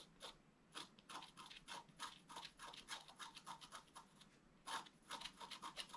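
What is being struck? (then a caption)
Wax-coated scratch-art card scraped with a wooden stylus. A thin wooden stylus makes fast hatching scratches across a flat, black-coated scratch-art paper card. Quick, bright, dry scratching strokes come in rapid bursts, each cutting off almost at once, with very little low end and a quiet overall level.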